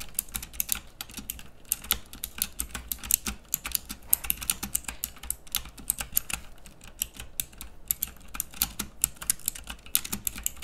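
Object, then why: Plastic mechanical keyboard. Fingertips type continuously on a pink plastic mechanical keyboard with round keycaps. The rapid, irregular keystrokes are bright and clicky, each one short and dry with almost no ring, over a faint low hum.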